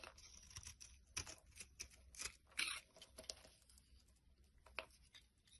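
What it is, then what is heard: Bar soap scraped with a blade. A solid tan bar of laundry soap, held in the hand, is scraped with a utility knife blade over a pile of soap crumbs. A series of short, dry, crisp scraping strokes are heard, bright and crackly with little low end, some louder than others, each fading quickly.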